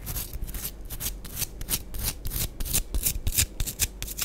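Long acrylic nails scratch and scrape the flat cut face and curved surface of half a round pressed bath bomb of compacted powder, orange and green, palm-sized and solid, held in both hands above a powder-covered board. About sixteen dry, gritty, bright scratching strokes come in a quick, irregular rhythm, each short with almost no ring, over a low rumble.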